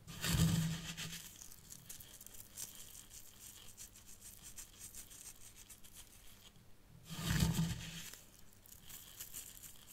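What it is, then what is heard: Fine sand scratched by fingernails. Fingertips with long nails scratch and pinch fine white sand in a small hexagonal tray of a miniature zen garden, near the tealight holder. Soft, grainy scraping and rubbing runs throughout, swelling into two louder, rougher bursts near the start and again about seven seconds in, over a low steady hum.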